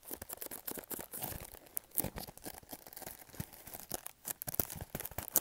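Fingernails scratch and fingertips tap on a small, hollow, pink printed cardboard product box. Quiet, dense, bright scratchy rasps mix with soft hollow taps that die away almost at once.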